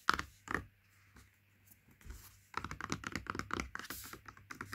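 Fingertips rub and scratch along the side panel of a turned-over Princes cardboard juice carton. Two soft taps are followed by a quiet pause, then a quick, uneven run of dry, papery scratching bursts with no ring after each one.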